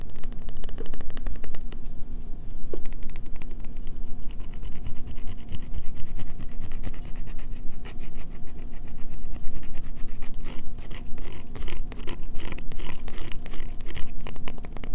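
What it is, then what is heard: Bar of soap scratched with fingernails. A solid green bar of soap held in the hand has its edge scratched and rubbed with long fingernails. The result is a steady, dense run of quick dry scratching and rasping ticks over a low rumble, continuing without pause through the clip.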